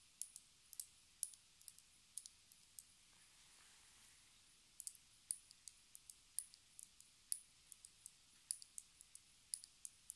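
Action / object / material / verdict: tap / small plastic lip gloss tube / plastic / none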